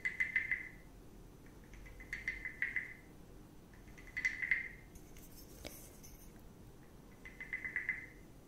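A small, hollow, carved reddish-brown wooden frog guiro with ridges on its back is held in one hand with long red nails, while a wooden stick in the other hand scrapes and taps along the ridges. Four short, ratchety croaking bursts centered near 2 kHz are heard, separated by quiet pauses, with a faint bright tick in between.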